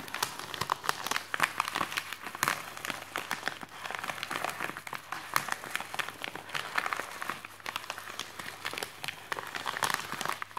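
Fingertips press, rub and scratch the surface of a white printed paper padded mailer envelope lying on a wooden desk. The result is a steady stream of crisp, bright crinkles and dry scratching with almost no low end, each sharp crackle dying away almost instantly.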